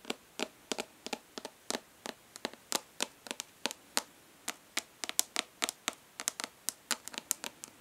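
Long nails on one hand tap and scratch along the raised embossed letters on the lid of a rectangular, hollow plastic eyeshadow palette held in the other hand. About 34 quick, sharp, dry clicks come in an uneven, fast rhythm. They are bright and high with almost no low end, and each dies away instantly against a quiet background.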